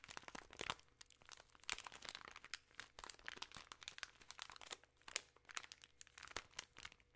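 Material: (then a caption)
Plastic film. A full plastic-film bag of peanut M&M's chocolate candies is crinkled in hands with long nails. Quiet, dense, bright crackles and crunchy rustles come in quick irregular bursts, each dying away almost instantly with no ring, and there is very little low end.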